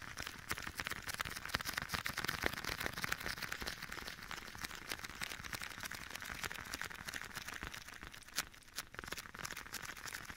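Bare fingertips tap and rub the leather on the back of a black leather glove, worn on one hand and held against the right side of the microphone. A steady stream of quiet, crisp, close-up taps and soft rubbing, heavy in the upper frequencies with an echo effect, runs throughout the clip.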